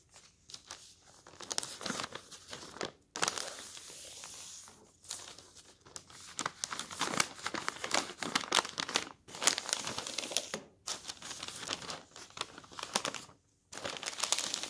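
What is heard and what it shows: Fingers rub the surface of a paper newspaper lying on a table, then lift and fold a large sheet so it crinkles. Dense, bright crinkling and rustling comes in bursts separated by brief silent gaps, with almost no low end.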